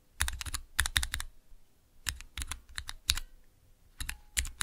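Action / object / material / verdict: tap / plastic mechanical keyboard switch tester / plastic / none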